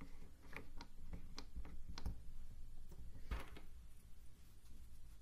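Fingertips press and rub across the many small dark wooden blocks of a hand-sized Chinese 3D wooden cube puzzle from AliExpress, whose light unfinished wooden corner frame is held in the other hand. Soft scratching and wood-on-wood shifting are heard, with a series of short, dry clicks and taps over a low, steady rumble.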